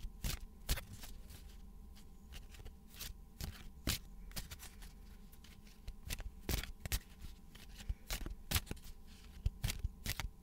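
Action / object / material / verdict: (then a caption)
flick / deck of coated paper playing cards / paper / none. A small, solid deck of thin coated paper playing cards with a VidCon logo is handled with bare fingers over a wooden desk, shuffled and bent so the edges flick and slide against each other. Sharp, bright card snaps and ticks punctuate a soft papery rustle over a steady low hum, each flick dying away almost instantly.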